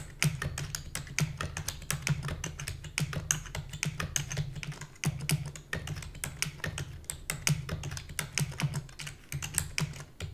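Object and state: Plastic computer keyboard being typed on.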